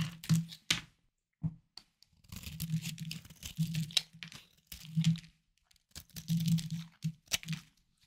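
A hard, solid, palm-sized bar of white soap is held in one hand and scraped and carved with a small knife, with shavings falling onto a wooden board. Irregular crisp, crunchy scraping bursts carry a low, dull body and a bright crackling edge. Short quiet gaps fall between the strokes.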